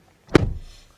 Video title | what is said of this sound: The 2021 Hyundai Sonata N-Line is Family Sport Sedan With Nearly 300 HP | it has a relatively solid sounding thunk